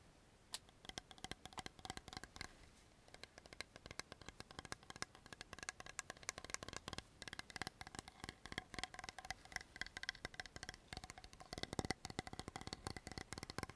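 A tall, blue, translucent plastic toner bottle with a cap, hollow and partly filled with liquid, is tapped quickly with long nails and fingertips. The result is a dense, continuous stream of short, sharp clicks and taps with almost no ring, bright in the upper range with a faint hollow body.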